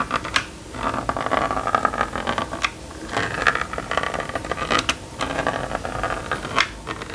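A plastic stylus scratches zigzag lines across the screen of a small red and yellow plastic magnetic drawing board. The result is a run of dry, raspy scratching strokes with a gritty mid-range whine around 1.2 kHz and sharp bright ticks, broken by brief quiet pauses between strokes.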